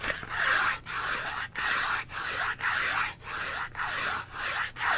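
Fingernails scratch along the edges and sides of a small, hollow Dove soap box made of printed cardboard, held in one hand with the soap inside. The result is a steady run of dry, raspy scratching strokes with a bright, papery texture, each separated by a brief pause.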